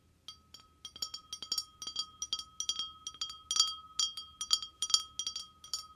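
Short fingernails tap quickly on the bowl of an empty, clear, hollow wine glass held by its stem. The taps form a rapid, uneven run of bright, high clinks over a steady ringing tone near 1.2 kHz that sustains beneath the taps.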